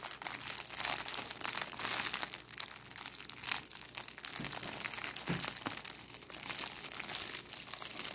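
A thin, clear, crinkly plastic cellophane bag is held in both hands above a wooden table while fingers with long nails crumple and scrunch it. The result is a steady stream of bright, dense crinkling and crackling with little low end, rising and falling in loudness over the 8 seconds.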